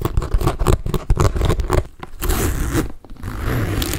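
A hollow magenta pink studded saffiano leather tote, held in both hands, is scratched and rubbed with fingertips and nails, possibly touching its hardware. Dense, irregular scratchy bursts fill the first two seconds, then give way after a brief dip to a steadier, softer rubbing texture with a low, dull body.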